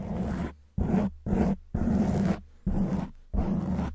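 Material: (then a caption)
Foam. Long white nails scratch a black foam windscreen on a silver microphone in repeated strokes. Each stroke is a loud, low, rough rustling scrape with a raspy, roar-like quality, separated by short gaps of near silence.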